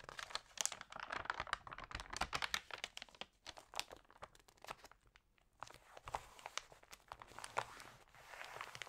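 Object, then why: Glossy paper magazine. Fingers with long nails rub and turn the glossy pages of an open paper magazine. Dense, bright crinkling and crackling rustles come in bursts, with a quieter stretch in the middle before the rubbing picks up again.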